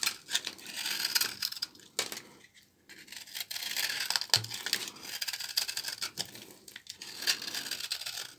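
A small blade scrapes crumbly shavings off the face of a solid orange-brown bar of dry, old laundry soap held in both hands. Bright, crisp rasping and crackling scrapes come in uneven bursts, with brief pauses and a few sharper snaps, almost no low end.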